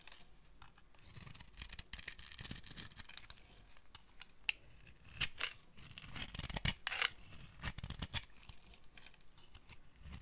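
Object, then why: Soap bar scraped with a metal blade. A metal blade scrapes and shaves flakes off a dry, solid orange bar of soap held in the hands. The sound is a series of crisp, bright, dry scraping and crackling strokes at irregular intervals, with a faint low rumble underneath.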